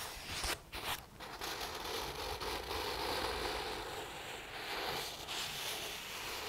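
Fingertips scratch and rub the printed paper pages of an open paperback book. After a couple of short pauses at the start, a steady, dry, bright rasping scratch continues with little low end.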